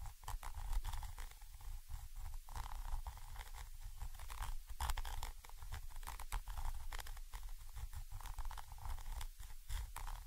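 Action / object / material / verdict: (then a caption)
scrape / metal microphone capsule scratched with a thin stick / metal / none. A thin orange stick scratches and taps between the two capsules of a Zoom H5 XY microphone, a small chrome metal body with mesh grilles, from above. The result is a steady, close, muffled rumble dominated by deep low end, broken by many quick crunchy scrapes and dry ticks with bright flecks and almost no ring.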